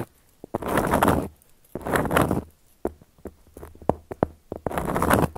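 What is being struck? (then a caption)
Round flat cork coaster scratched with long nails. Long gold metal claw nails scratch across a round, flat, solid cork coaster in three dry, rasping strokes, each lasting under a second. Between the second and third strokes come a run of short, sharp ticks and taps from the nails on the cork, with no ring after any of them.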